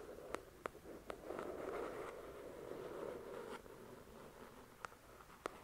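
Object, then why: Paperback book with card cover. Long pointed dark red nails tap and scratch the glossy card cover of the paperback novel "The Shack," which has solid paper pages and lies flat on a fluffy white cloth. Six crisp, quick taps with no ring come before and after a soft, continuous, mid-pitched scratching rustle in the middle. The whole clip is quiet and close.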